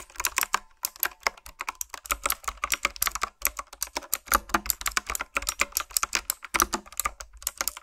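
Long nails and fingertips type and tap on a black, retro typewriter-style plastic mechanical keyboard with round keys. A steady run of quick, sharp, bright clicks and clacks comes with brief pauses between bursts. Each keystroke dies away almost instantly, with very little low-end thump.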